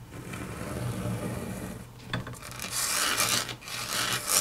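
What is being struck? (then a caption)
Wood-grain laminate tabletop. Long natural nails scratch and patter across a flat, solid grey wood-grain laminate tabletop, then index fingers tap on it. A soft, low rubbing murmur in the first half gives way to bright, raspy scratching with a strong high hiss, broken by short, sharp clicks.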